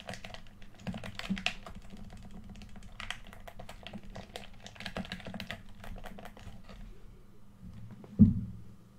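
Fingertips and thumbs rapidly tap and press the rubber buttons and face of a red PS4 DualShock controller, a small hollow plastic handheld shell held in both hands over a white surface. A dense run of short, dry, clicky taps sounds much like typing over a steady low hum. Near the end, a single louder, deeper knock stands out before the sound fades.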